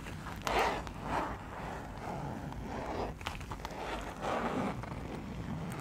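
A small printed fabric zipper pouch is held and tilted in the hands while fingers slide its zipper open and shut. Soft, scratchy zipper rasps rise and fade in quiet swells over a low, steady background.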